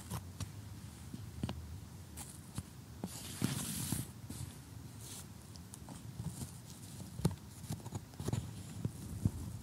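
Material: Cardboard.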